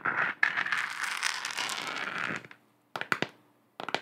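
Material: Plastic.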